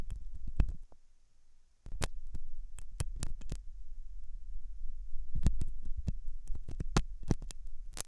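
A thin hooked metal dental tool scratches inside the ear canal of a white silicone dummy ear on a binaural microphone, which looks soft and solid. Close, deep rumbling scrapes fill the clip, broken by sharp bright clicks and taps, with a brief quieter stretch near the start before the scratching picks up again.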